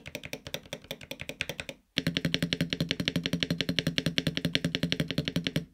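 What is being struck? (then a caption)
Mechanical keyboard with aluminum case and PBT keycaps. Fingertips type on a LUMINKEY Magger68 Pro HE, a 65% aluminum mechanical gaming keyboard with a silver case and grey and red PBT keycaps. Softer keystrokes give way, after a brief silence, to louder, faster typing. Each press is a short, sharp clack with a deep thock body and bright click.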